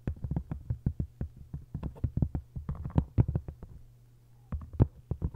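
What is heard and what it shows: Long acrylic nails tap and scratch the textured paper dust jacket of a hardcover book lying open face-down, working across both cover halves with its spine up. A quick, uneven run of dull, low, dry taps sounds over a faint steady low hum. The tapping pauses briefly near the end, then resumes.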